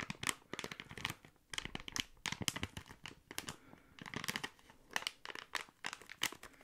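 A small, thick, clear plastic packaging bag with contents inside is crinkled and squeezed with fingertips close to the mic. Dense bursts of sharp, bright crackling and rustling come in quick clusters with brief quiet gaps between them. Each crackle cuts off almost at once.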